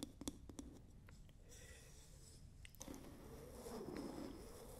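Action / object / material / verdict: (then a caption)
tap / wooden lid of a glass jar / wood / none. Long nails and fingertips tap and scratch the round wooden lid of a medium glass candle jar held close to the mic. A few quick, sharp taps open the clip, then soft, steady scratching and rubbing follows, with a brief dip before the scratching picks up slightly toward the end. Quiet, close, dry sound with little ring.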